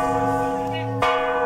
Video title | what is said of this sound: తెలంగాణలోని అతిపెద్ద స్వర్ణ గిరి శ్రీ వెంకటేశ్వర స్వామి వారి టెంపుల్#venkateswaraswamytemple | ఈ గంట వచ్చేసి 1700 kg లో కంప్లీట్ గా కంచితో చేశారు ఒక్కసారి గంట మోగిస్తే రెండు నిమిషాల వరకు ఆ వైబ్రేషన్ అలాగే ఉంటుంది